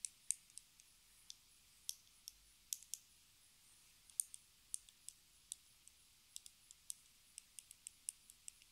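A small, hollow, square pink plastic lipstick case with a gold band is held in the hands and tapped with long red acrylic nails. About 26 quiet, sharp, bright clicks come at an unhurried, uneven pace, each dying away almost instantly with no low-end body.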